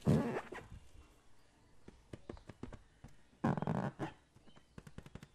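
A hand-sized, hollow green latex balloon filled with liquid is tapped, rubbed and squeezed with fingertips close to the microphone, while a second balloon rests untouched in another person's lap. Two loud, low, squelchy rubbery bursts, one at the start and one in the middle, stand out among a scattering of quick, sharp taps and soft rubbing sounds.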